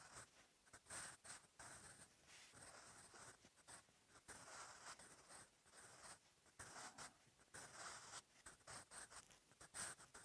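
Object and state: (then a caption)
Pencil writing on a paper notebook page. A sharpened wooden graphite pencil held in the fingers writes on a lined page of an open paper notebook. Its tip scratches the paper in short, quiet strokes with a bright, high hiss. The strokes come one after another through the clip, each stopping quickly.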